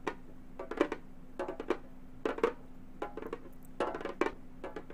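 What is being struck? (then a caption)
Frame drum with synthetic head, tapped with metal finger claws. Long gold metal finger claws tap a hollow, round Remo frame drum with a synthetic head. The taps come in quick, irregular clusters of short, dry clicks with a mid pitch and bright edges, and each dies away almost instantly. A faint, steady low hum runs underneath.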